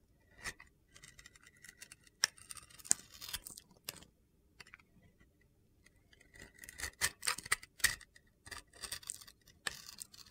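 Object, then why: Glitter-coated bar of soap. A utility knife blade scrapes and shaves the surface of a solid red glitter-coated bar of soap held in hand, exposing the white soap underneath. The strokes come as quiet, dry, gritty scratches and crisp clicks, bright and hissy with almost no low end, in bursts separated by short pauses.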